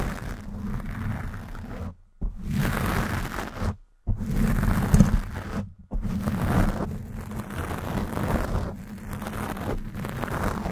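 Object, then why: Foam microphone windscreen. Long black and glitter acrylic nails scratch a black foam windscreen on a Blue Yeti microphone from both sides. The result is a dense, muffled, low rumbling scratch with almost no bright content, broken by three brief near-silent gaps.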